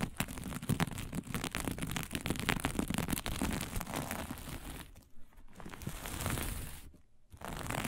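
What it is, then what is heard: Sequin fabric. Long nails on both hands scratch fast across a flat sheet of fabric covered in blue sequins, making a dense, crackling, crinkly rasp with a full low body and bright clicking edges. The scratching runs almost continuously, with brief near-silent dips around the five- and seven-second marks before it resumes.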